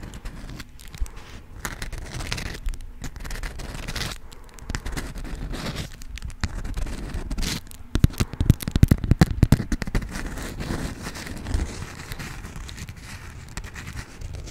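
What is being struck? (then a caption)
Beeswax-coated cotton food wrap. A folded sheet of yellow honeycomb-print beeswax-coated cotton food wrap is crinkled and scratched with long acrylic nails. The result is a dense, continuous stream of dry crackles and scrapes, mostly low and muffled, with a louder burst of sharp crackling in the middle.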